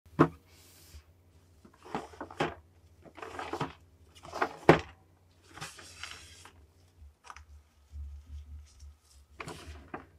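Blue nitrile-gloved fingertips tap on a small, hollow, printed cardboard Nendoroid figure box (Tengen Uzui, Demon Slayer) held upright. An irregular series of soft, short, hollow taps and dry scratchy brushes on the box surface rises and fades over a low steady hum.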